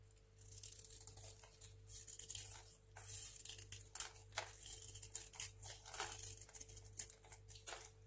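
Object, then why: Small bar of soap scraped with a blade. A craft knife blade scrapes and shaves a small, solid, dry white hotel soap bar held in the fingers, so flakes fall off. Quick, crisp, bright scraping strokes rasp and crackle in irregular bursts over a steady low hum, with a few sharper clicks standing out.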